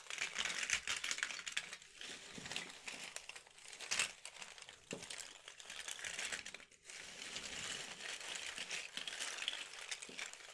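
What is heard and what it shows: Fingertips with painted nails scoop up and shuffle a pile of many small, thin, solid cardboard jigsaw puzzle pieces on a red cloth. The pieces rub and clack against each other in a dense, continuous, bright crinkling rattle with brief louder surges and almost no low end.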